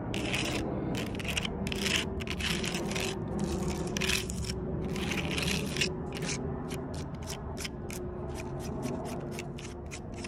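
Long purple nails scratch and pick at the rough bark ridges of a large solid log. Bursts of dry, bright scraping come first, then give way to quicker, shorter picks toward the end. A steady low rumble runs underneath throughout.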